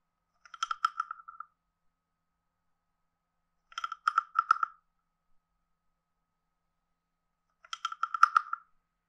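A hand-sized, carved, hollow wooden frog guiro with a ridged back is tapped on its side and head with a wooden stick. Three short bursts of quick, dry, hollow clicks are heard, each with a woody knock near 1.3 kHz and a faint bright tick. Each burst dies away at once, with silence between them.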